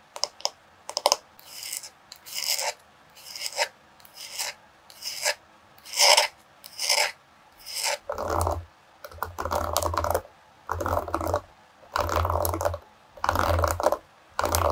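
Long pink nails scratch and rub the flat back of a solid bamboo-wood paddle hairbrush and run over its wooden pins. First come quick taps and short bright, raspy scratches, then longer, fuller rubbing strokes with a low rumble underneath, each separated by brief silence.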